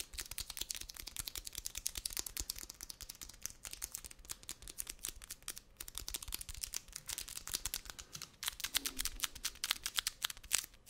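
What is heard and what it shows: Fingertips and nails tap and scratch the outer surface of a wide roll of brown kraft paper packing tape. A rapid, steady stream of crisp, dry, bright clicks and light scratches runs throughout, with a soft papery texture and almost no low end or ring.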